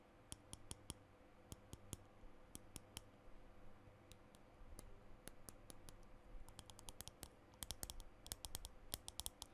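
Fingernails tap and click on a small green plastic lipstick tube held close to the mic, making sharp, bright clicks that come in scattered single taps and then quicken into fast clusters. Each click dies away almost instantly over a low, steady hum.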